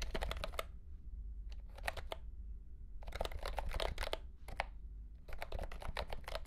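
A mint-green retro mechanical keyboard with round plastic keycaps in a hollow plastic case is typed on with the fingertips of both hands. Bursts of quick, sharp clicky keystrokes with a hollow plastic clatter are separated by short pauses. A steady low hum runs underneath throughout.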